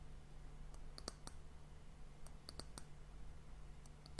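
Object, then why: Varnished wooden hourglass end cap. Long fingernails tap on the solid, varnished brown wooden disc end cap of an hourglass, making quiet, sharp, bright clicks with a high ring that dies away almost instantly. The taps come at an irregular pace over a steady low hum.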